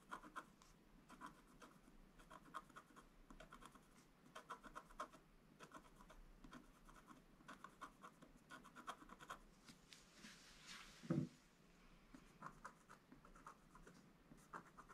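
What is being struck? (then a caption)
Black-coated scratch art paper, wooden stylus. A wooden stylus scratches fine details into a flat, black-coated scratch art paper board, making quiet, dry, rapid scratching strokes in short bursts. Near the end comes one louder, lower scrape before the light scratching resumes.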